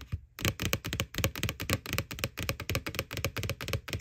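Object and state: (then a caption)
Hollow plastic bucket. Fingernails rapidly tap the side wall of a white, hollow plastic McDonald's Boo Bucket Halloween bucket. The clip is a quick, uneven stream of clicky taps, each with a hollow low thump and a bright edge that dies away almost at once.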